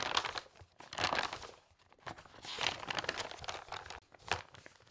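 A bundle of pages in a large, open glossy-paper interior design magazine resting on a fabric tablecloth is fanned and flipped rapidly by a hand with long red nails. It makes quick, crisp bursts of rustling and crinkling paper, bright and airy with almost no low end. Each flurry stops short, with quiet gaps between them.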